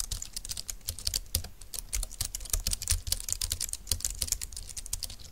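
Fingertips of both hands type fast on a compact, dark green plastic low-profile keyboard with flat keys and a hollow plastic body. The result is a rapid, dense stream of short, dry clicks with a bright top and a soft low thump under each keystroke.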